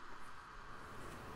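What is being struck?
Nothing is struck.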